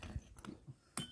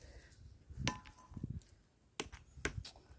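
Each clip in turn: First: ringing stone slab (lithophonic). Second: ordinary stone, dull normal sound.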